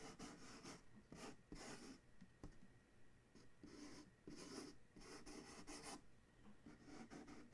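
A single fingertip and nail trace and scratch along the printed blue side of a large, hollow corrugated cardboard shipping box. Soft, papery rasping strokes come in repeated bursts, each with a bright hiss over a low, hollow body, with quiet gaps between them.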